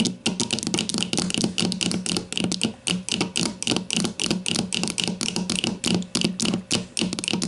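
A grey plastic deodorant stick lies on its side on a table and is tapped rapidly with the long matte nails of both hands. The result is a dense, uneven stream of dry, bright clicks with a hollow plastic tone around 215 Hz. Each tap dies away almost instantly.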